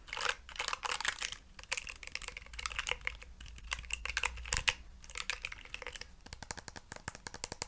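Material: Plastic.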